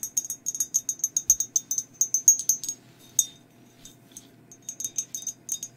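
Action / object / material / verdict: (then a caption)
tap / glazed ceramic mug / ceramic / none. Long acrylic nails tap all over a hollow, empty glazed ceramic mug with a black and white skeleton print. About two dozen quick, bright clicks ring high and die away almost at once, with a brief lull midway before the tapping picks back up.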